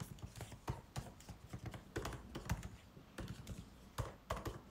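White cotton-gloved fingertips type continuously on the plastic keys of a MacBook Pro 16-inch keyboard set in an aluminum body. The result is a quiet, steady run of soft, muffled clicks and taps, mostly low and dull, each dying away almost instantly, with a few sharper, brighter key strikes standing out.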